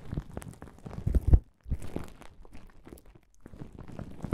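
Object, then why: Plastic bubble wrap pouch. A flat plastic bubble wrap pouch lying on a table is pressed and rubbed with the fingertips of both hands. It gives dense, low crinkling and crunching, with a louder burst just before a brief silence at about one and a half seconds. Quieter rustling resumes afterward, with another pause near three and a half seconds.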